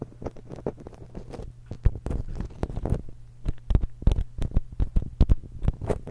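Long acrylic nails scratch along the crossed metal capsule barrels of a small silver X/Y stereo microphone while one hand holds it. A dense run of close, rapid scraping clicks and rustles sounds heavy and muffled, with most energy deep in the lows, over a faint steady low hum. Sharp taps punch out irregularly, growing busier and louder in the second half.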